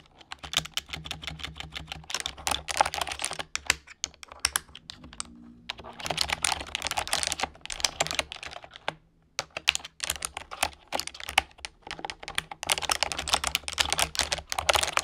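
Continuous typing with fingertips and long painted nails on the plastic keys of an orange plastic computer keyboard produces rapid, bright clicks and clacks in uneven bursts, with brief pauses near 5 and 9 seconds. A faint low hum runs underneath.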